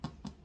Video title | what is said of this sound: Making Sourdough Bread | it sounds a little bit better